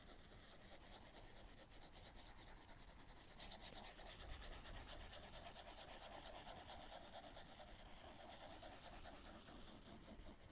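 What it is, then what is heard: Stylus drawing on a glass tablet screen. The plastic tip of a pink-wrapped Apple Pencil, held in one hand, makes continuous drawing strokes across the glass touchscreen of a large 12.9-inch iPad Pro lying flat, while the other hand with long nails rests still beside the tablet. The result is a steady, soft, dry rubbing and scratching with a bright, hissy texture. From about 3.5 seconds in, the strokes grow slightly louder and a thin high tone sits on top.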